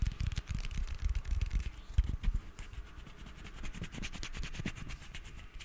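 A hand-sized, hollow, red cylindrical metal aerosol spray can with a printed label is held in both hands and scratched and tapped along its side with fingertips and short nails. Soft, low, dull thumps from the taps mix with a steady run of quick, dry scratching clicks and a faint bright rasp. The sound stays close and quiet, with a few louder taps near the middle.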